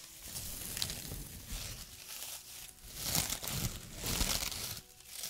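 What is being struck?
Small straw broom ornament.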